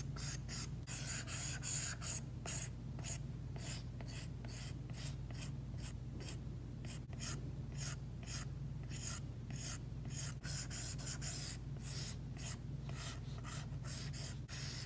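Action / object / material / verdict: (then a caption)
scrape / glass tablet screen with matte film, plastic stylus tip / glass, plastic film / none. Repeated short strokes of a plastic Apple Pencil tip scratch across an iPad's glass screen fitted with a matte screen protector. Each stroke gives a bright, raspy scratch over a steady low hum that runs through the whole clip.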